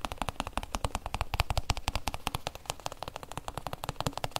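Fingertips and nails rapidly tap and scratch the covered shell of a hollow, oblong hard-shell EVA zip case held in the hands. The result is a fast, dense run of dry, hollow clicks with a low thump beneath and a bright scratchy edge, each tap dying away almost instantly.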